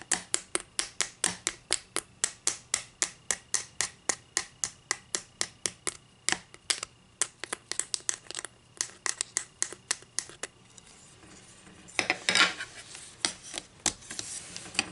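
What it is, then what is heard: Wooden ruler. Long green acrylic nails tap rapidly and steadily on the face of a solid flat wooden ruler laid slanting on a table, making sharp, bright clicks. Around the twelve-second mark the tapping turns into a harsher, brighter scratching along the wood, with scattered taps mixed in.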